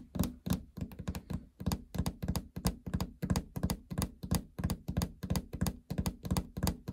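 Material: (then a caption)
Plastic. Long fingernails tap the hollow plastic console panel just below the LCD display window of a treadmill. The taps come in quick, uneven bursts as dull, low, hollow thunks, each dying away almost at once with little brightness.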